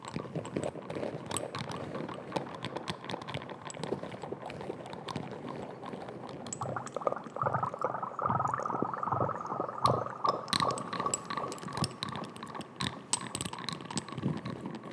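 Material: Glass.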